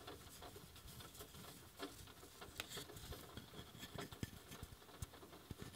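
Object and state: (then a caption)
Wooden coaster. A handmade wooden coaster is tapped with quick, sharp, dry taps that die away almost instantly, over a soft, steady patter of rain falling outside. The taps are quiet, with a low thud beneath a bright, crisp click.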